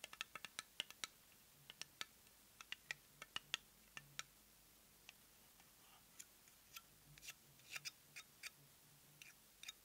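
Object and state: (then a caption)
Plastic cosmetic jar. Long nails tap and scratch the lavender plastic lid of a small round cosmetic jar with a white base, which looks filled with product. Around thirty sharp, dry, bright clicks come at an uneven pace with no ring, plus soft scratching between them over a faint low hum.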